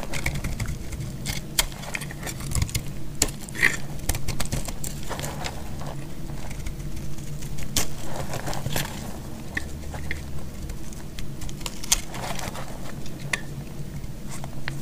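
A solid, dry white bar of soap is held in the hand and carved and scraped with a metal blade. Steady, dry scraping is heard, broken by many short, crisp clicks and bright crackles as pieces cut away, over a low, constant rumble.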